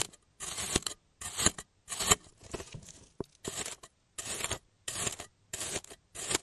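A clear plastic cutting tool slices and scrapes repeatedly through a solid bird-shaped block of pink kinetic sand on a yellow surface, cutting off thin slices. Each cut makes a short, bright, gritty crunch and hiss, separated by brief silences.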